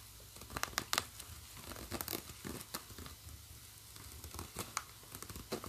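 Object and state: Nylon bag with plastic zipper being scratched.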